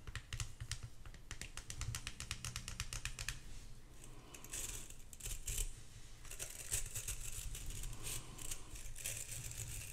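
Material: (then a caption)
Glass, metal. A small, solid vintage hand mirror with a glass face and an ornate metal back and handle is held in both hands and tapped with long acrylic nails. A quick run of crisp, dry clicking taps over a low hum gives way after a few seconds to brighter, hissy scratching and rubbing sounds with a few sharper taps mixed in.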